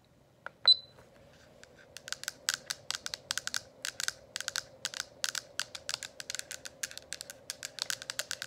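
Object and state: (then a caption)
Plastic diffuser dome cover. The hollow, translucent plastic dome cover of a running essential-oil diffuser, lit with color-changing light, is tapped rapidly on both sides with long acrylic nails. A single sharp, high ping comes first, then a fast, uneven stream of bright, dry clicks with no ring. A faint steady hum from the running diffuser sits underneath throughout.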